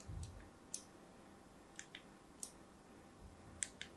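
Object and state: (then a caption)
Soap bar being scored with a blade. A thin blade scores lines across the surface of a solid, hand-held pink-and-white striped soap bar. It makes seven short, crisp, bright clicks that stop instantly, spread unevenly over four quiet seconds. A faint low rumble sits underneath, strongest at the very start.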